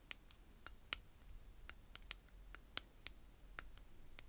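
Long painted fingernails tap and scratch on the top jar and lid of a tower of stacked, small clear plastic bead containers, held upright, with purple glass beads inside. Sharp, bright plastic clicks and taps come at an uneven pace over a quiet low rumble, each dying away almost instantly.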